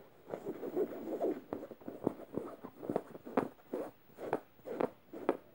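Red-painted fingernails scratch the surface and felt tongue of a medium yellow stuffed emoji cushion made of soft plush fabric, alternating harsh and gentle strokes. The result is a quick, uneven run of short, dry, muffled scratching bursts, centred in the low-mid range with almost no bright top end.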